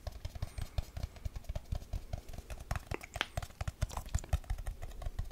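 A small, round, silver aluminium tin can, hollow with its lid on, is held in the hand and tapped quickly with fingertips and nails across the lid and sides. The result is a rapid, uneven run of short, dull, low thuds with almost no ring, dotted with brighter clicks from the nails.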